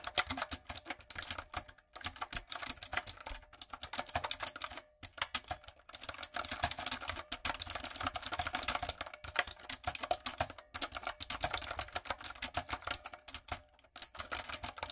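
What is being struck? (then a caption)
Plastic mechanical keyboard with round keycaps. Long coffin nails and fingertips type steadily on a backlit, typewriter-style mechanical keyboard with round retro plastic keycaps and a hollow body. The rapid, bright, clacky key taps are crisp and quick to fade, with little low end. The typing comes in bursts broken by short pauses.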